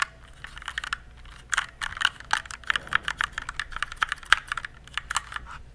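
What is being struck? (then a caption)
Plastic mechanical keyboard. Fingertips type on a compact RGB plastic mechanical keyboard. A rapid run of short, sharp, clacky keystrokes sounds with a bright mid-high tone, sparse at first and then denser, each click dying away almost instantly over faint background hiss.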